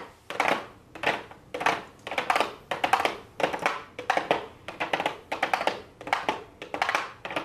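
Long blue acrylic nails tap and scratch a pink cardboard palette box with a clear plastic window lid as it lies on a desk. Bursts of quick, crisp clicking and scratchy rustle come in a loose, uneven rhythm, each cluster of taps fading before the next begins.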